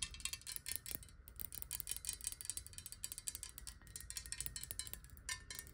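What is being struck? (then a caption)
Glass bottle partly filled with water. A clear square glass bottle, partly filled with water and held tilted, is tapped rapidly with long nails. Quick, bright, glassy clicks with very short ring come in a steady stream over a faint low rumble.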